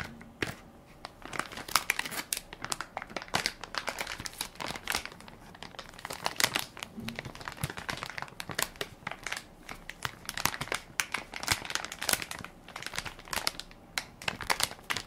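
Fingertips and nails press and crinkle the film of a hand-sized Equate baby wipes soft pack, made of crinkly plastic, full of wipes and held in one palm. Dense, bright crackling crinkles with sharp snaps run steadily for the whole clip, each one dying away almost instantly.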